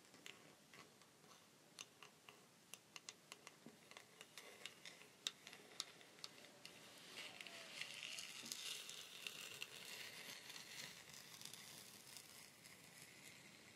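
Long painted nails tap and scratch along the dry wooden outer surface of a long, hollow wooden rainstick held horizontally. Sharp, bright ticking clicks come at an irregular pace. Midway, a soft, hissy scratching builds and then fades back to quiet taps.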